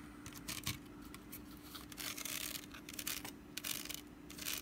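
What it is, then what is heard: Wicker basket scratched with nails. Long nails scratch along the woven strands of a small, hollow, orange wicker pumpkin basket with a lid, held in the hands. The sound is a series of dry, bright, crackling scrapes in short bursts, over a faint steady low hum.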